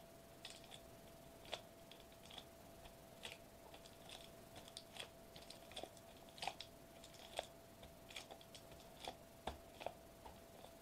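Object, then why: Metallized plastic bubble wrap sheet. Fingertips tap a flat, silver metallized plastic bubble wrap sheet lying on a white table, with one hand lifting between taps. The result is a quiet, irregular string of short, dry, bright ticks and crinkly clicks, each dying out almost instantly. A faint steady tone near 660 Hz hums underneath throughout.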